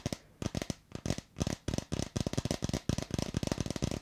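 A hand-sized, hollow red plastic bottle with a white cap is tapped and scratched with long red acrylic nails near the microphone. The result is a dense run of quick, dry clicks and scrapes with almost no ring, a low hollow body under a bright edge, in uneven clusters.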